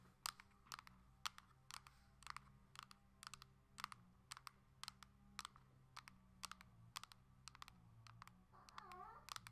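Long acrylic nails tap quickly on the hard plastic back of a coral Nintendo Switch Lite held upright. The result is a rapid run of sharp, bright clicks over a low steady hum, with a faint wavering tone near the end.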